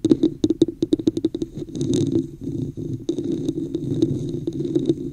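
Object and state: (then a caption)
Plastic cup tapped and scratched. Long fingernails tap and scratch the sides and top of a hollow red plastic cup with a woven texture, held over the microphone. Quick, sharp clicks with a hollow, boxy resonance open the clip, then give way to a rougher, continuous scratching texture. Lighter taps return over the scraping toward the end.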